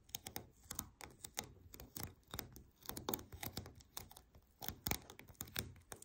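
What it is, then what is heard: Lint roller with paper sheets. Long nails rapidly tap and scratch the paper sheets of a white paper lint roller lying on its side, its cylinder covered in sheets. The result is a quick, uneven series of short, dry, papery clicks like typing, with faint scratchy rustle between them.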